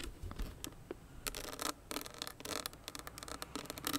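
Long nails scratch and rub across a small hollow owl-shaped clutch with crystals set in a metal frame. The result is a rapid series of short, dry, bright clicks and scrapes with a faint low body and almost no ring.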